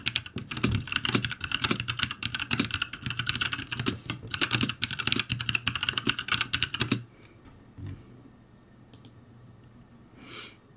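Fingertips type in fast strokes on a ROCCAT G65 full-size backlit mechanical keyboard with plastic keycaps over a metal plate and hollow switch housings. A dense run of sharp, bright clacks lasts about seven seconds, then stops, leaving quiet room tone with a couple of faint clicks.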